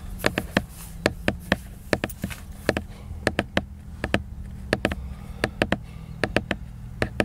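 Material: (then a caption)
Laminated paper. Fingertips tap the glossy laminated cover of a large picture book, making 27 quick, dry taps in an uneven rhythm, each a sharp, bright click that dies away almost at once. A steady low hum sits underneath throughout.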